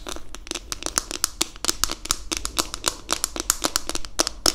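Long acrylic nails tap and scratch the smooth back of a pink, palm-sized plastic detangling hairbrush with a hollow back and bristles underneath, held in both hands. A rapid, uneven series of crisp, bright clicks and scratchy ticks fills the clip, each dying away almost instantly with a hollow plastic tone, over a faint low background hum.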